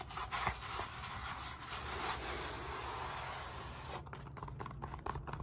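Long nails rub and scratch across the end face of a solid black-grey foam roller made of molded polyethylene foam, then move onto its bumpy side. A steady, breathy, broadband rubbing hiss fills the first four seconds. It then gives way to choppier, quieter scratching strokes over a faint low rumble.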